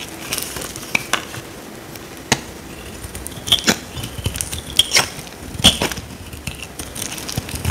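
A solid oval white soap bar, dry and held in the hand, is cut and scraped with a small metal blade. Many quick, dry, crackly scrapes and clicks sit mostly in the high, bright range, with little low-end weight. Several sharper snaps stand out over a faint, steady crumbling texture.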